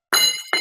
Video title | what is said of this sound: चारा काटने वाली मशीन कम रेट पर सीधे फैक्ट्री से ले मूल्य वो भी चौंकाने वाली#begusaeai#bihar#news | इसको गिरा के लोहे की तरह आवाज आई। ये लोहे की आवाज भी आई